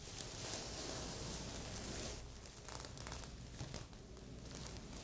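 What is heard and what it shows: Long polished nails scratch across a medium, soft stuffed heart-shaped pillow covered in red and silver plastic sequins. A steady, bright crinkling rasp fills the first two seconds, then breaks into quieter, irregular scratchy strokes and sequin clicks.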